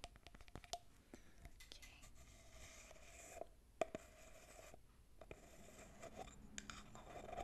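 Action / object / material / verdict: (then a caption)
tap / small cosmetic tin with metal screw lid / metal / none. Long painted fingernails tap and scratch across the silver metal screw lid of a small cylindrical cosmetic tin with a grey labelled body and a visible barcode, held in one hand. The tin seems hollow. Quiet, sharp clicks and short bursts of scratching come at an uneven pace, each with a brief faint metallic ping around 650 Hz that dies away almost at once.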